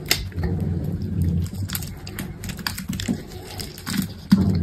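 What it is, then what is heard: Bar of soap being cut. A metal box-cutter blade scrapes and cuts grid cubes from the edge of a solid green soap bar held in a hand with pink nails. A quick series of crisp, bright ticks and scraping strokes rides over a steady low hum. A sharper cut stands out near the end.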